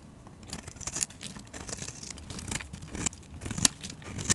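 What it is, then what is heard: Bar of soap being shaved with a blade. A metal utility-knife blade scores and then shaves a plain, solid, hand-sized white soap bar held in a hand with red-painted nails, peeling thin soap curls off. Quiet, dry, bright scraping and crisp shaving strokes come in an irregular series, with a few sharper high-pitched scrapes near the end.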